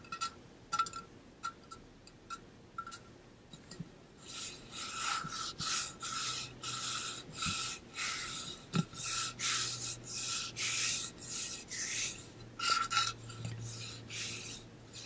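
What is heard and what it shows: Fingertips and nails rub and scratch the side of a hollow, pink-blue ombre painted metal water bottle held near the ear. Sparse, quiet scratchy ticks give way after a few seconds to louder, bright, rasping strokes in an uneven rhythm, with a faint low hum underneath.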